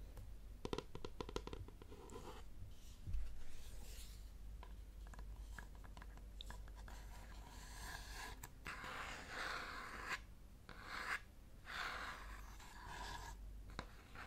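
Fingernails scratch and tap across a round, flat, painted wooden children's clock puzzle with colored wooden number pieces and a clown in the center; the solid, plate-sized puzzle is held up in one hand toward the microphone. Quiet, dry scratching alternates with short, soft clicks on the surface and the number pieces. A steady low hum sits underneath throughout.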